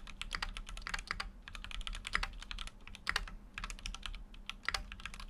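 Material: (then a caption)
Plastic, aluminium. A full-size Keychron Q6 mechanical keyboard with an aluminum case and dark plastic keycaps, resting on a desk mat, is typed on with the fingertips of both hands. Rapid, bright key taps and clacks come in quick uneven runs, each click short and dry over a faint low hum.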